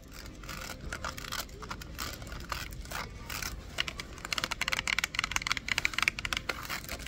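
Long acrylic nails tap and scratch a hollow, empty, hand-sized stack of red-lidded clear plastic Rubbermaid food containers wrapped in a printed cardboard sleeve, held up in a store aisle. Bright, dry clicks and scratchy rustling die away almost instantly, and the tapping turns faster and sharper in the second half.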